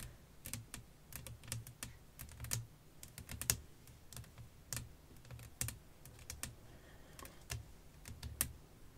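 Long nails tap across a flat, clear glass sheet laid over lace fabric, producing a quick, irregular series of short, dry clicks. Each tap is bright with a soft low thump beneath it and dies away almost instantly, with quiet gaps between the taps.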